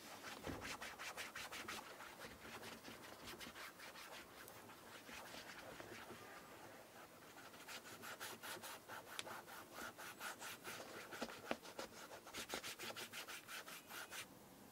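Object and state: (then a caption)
Leather shoe being rubbed. Bare fingertips rub cream or conditioner into the leather upper of a brown leather shoe with a buckle and rubber sole. The result is rapid, rhythmic, dry rubbing strokes with a bright, scratchy texture, running in steady bursts with a brief softer lull midway.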